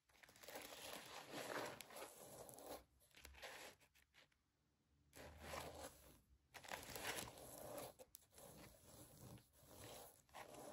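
Long nails scratch the glitter ears and sequin bow of a rose-gold fabric mouse-ear headband, which is tilted up at the end. The result is a dense, crunchy, crinkling scrape with bright, high texture, broken by brief quiet pauses near the middle.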